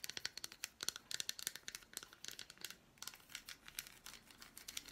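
An unwrapped piece of a solid milk chocolate bar with fruit pieces, held in the hand, is tapped and scratched with long black nails. A quiet, rapid run of crisp, bright clicking taps blends with dry scratching, with almost no low end and no ring after each tap.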